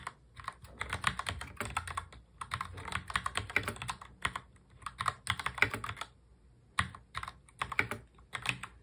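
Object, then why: Plastic mechanical keyboard. Two hands type continuously on a full-size black mechanical keyboard with plastic keycaps, fingertips tapping the keys. The result is rapid, bright, clacky keystrokes in dense bursts separated by brief pauses, each click dying away almost instantly.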